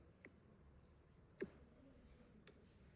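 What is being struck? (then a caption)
Braced spruce guitar soundboard. A fan-braced Engelmann spruce classical guitar top with Ramirez-style bracing is tapped to hear its note during tap tuning, with the braces carved until the top rings at the intended frequency. Three short, dry taps are heard, the middle one loudest, each with a brief low knock around 380 Hz and very little ring.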